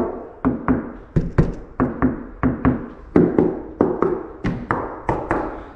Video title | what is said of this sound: RESTORING A 1968 FIAT 500 PART #1 | there's a bunch of bondo here sounds like wood